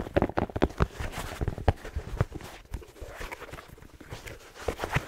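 Fingertips tap rhythmically on the black rubber sole of a hollow red plaid fabric slipper with a fleece lining. The result is a run of quick, dull, low clip-clop-like knocks that die away almost instantly, with softer taps scattered between them.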